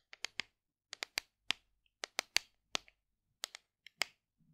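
Long decorated nails tap and scratch a large, hollow white plastic supplement tub with a paper label, held in both hands. Irregular clusters of short, crisp, bright clicks sound with almost no ring. Each dies away instantly, with a faint soft scrape at the very end.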